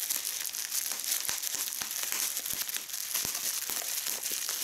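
Fingers with long red nails pinch and squeeze bubbles in a held fold of clear polyethylene bubble wrap, with a crumpled section below. Dense, bright crinkling runs throughout, broken by short, sharp pops with almost no low end.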